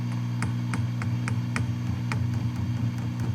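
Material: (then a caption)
Glass. Repeated light taps on a 6V6 glass power tube in a Gibson BR-6 tube practice guitar amp produce faint clicks through the speaker over a steady low hum. The tube is slightly microphonic, giving a small audible response that also shows on the scope. The response is judged not bad, since the tubes are believed to be probably original.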